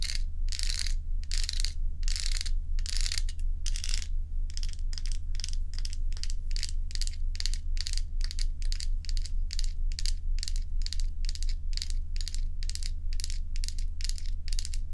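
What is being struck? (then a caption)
Ice cubes held in the hand. A few solid ice cubes are held in the hand while long nails scratch and squeeze them. Quick, bright, crackly scratching bursts repeat at roughly two per second over a steady low hum, with each burst dying away quickly.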